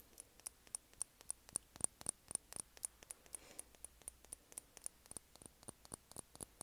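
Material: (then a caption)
Glass. A small, partly filled glass foundation bottle with a white plastic cap is held up in both hands and tapped with long painted nails. The result is a quiet, uneven stream of quick, bright clicks, about four a second, each with a high glassy tick that dies away almost instantly.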